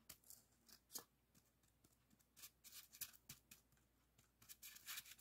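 A long, solid white expanded polystyrene block on a table is scratched and rubbed with the fingertips and nails of both hands. The result is quiet, irregular bursts of bright, squeaky, high-pitched scraping with almost no low end, each stopping abruptly with no ring.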